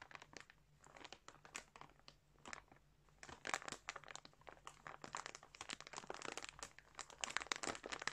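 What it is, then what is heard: Plastic bag of yarn being crinkled. Fingertips scratch and rub the surface of a large clear plastic bag full of colourful yarn, crinkling the plastic. Quiet, bright crinkles and scratchy crackles come in quick irregular bursts throughout, with a faint steady low hum underneath.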